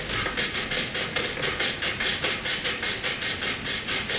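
A graphite pencil draws short vertical strokes and shading on a flat white sheet of drawing paper. About twenty quick, evenly paced scratches sound in a steady rhythm, each a bright, hissy rasp with almost no low end.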